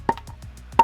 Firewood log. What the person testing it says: that's a little more seasoned, but like, you're looking for like that dead sound. That's when you know you got like better wood